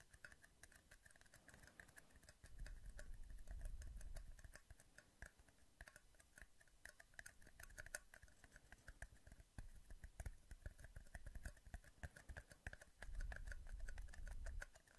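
Small, empty, hollow, thin clear plastic cups held by hand close to the microphone are squeezed and tapped with fingertips. The result is a steady run of rapid, crinkly clicks with a bright tone near 1.5 kHz. Soft low rumbling swells come and go underneath, around 2.5–4.5 s and again near 13–14.5 s.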